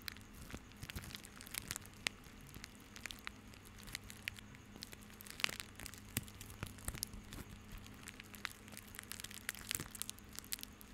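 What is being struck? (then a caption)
Bundle of plastic rope. A small bundle of white plastic rope is squeezed and rubbed with the fingertips of both hands. It gives a dense run of quiet, bright crinkling and crackling with sharp clicks throughout, over a faint steady low hum.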